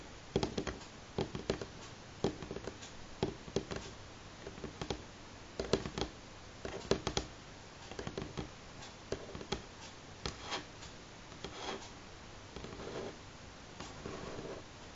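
Two hands tap the fingertips and short-to-medium natural fingernails on a solid, light pine-grain wooden tabletop at a moderate pace. The result is a quiet run of short, dry clicks and taps with a mid-range knock and almost no ring, coming in irregular bursts across the clip.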